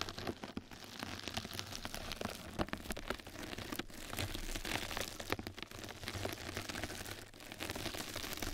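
Two mascara brushes scratch and brush across a flat yellow knitted-mesh bath sponge pad laid over the microphone. The result is a dense, continuous crackling hiss, like rain on a surface, with bright scratchy ticks layered over a steady low rumble.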